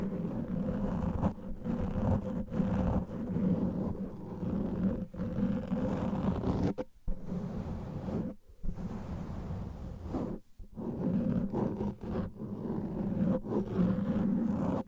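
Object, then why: Foam microphone windscreen. Long nails and fingertips of both hands scratch a large black windscreen of soft, porous foam covering a microphone. The result is a steady, dense, low, muffled rustling rumble with almost nothing bright in it. The sound cuts out briefly a few times near the middle before the scratching resumes.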